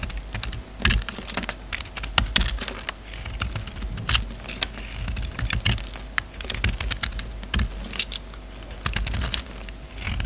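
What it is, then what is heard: Bar of soap being cut. A hand-held solid black soap bar with a purple rim is carved with a utility knife, shaving off flakes. A quick run of dry, crisp clicks and scrapes with bright edges follows, each cut short and sharp over a faint low hum.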